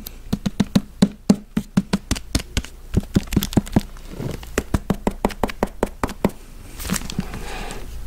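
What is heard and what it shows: Fingertips and nails tap and scratch a thick, solid hardcover book with a glossy paper dust jacket, working over both the cover and the page edges. A quick, uneven run of short, dry knocks with a dull low body dies away almost instantly. Near the end, a soft, papery scratching hiss takes over.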